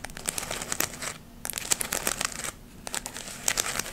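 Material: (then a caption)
Glittered fabric. Long nails scratch across the surface of a palm-sized round decoration of glittered artificial autumn leaves held in both hands. The result is dry, bright, crinkly scratching in quick clusters, with two brief quiet pauses between bursts.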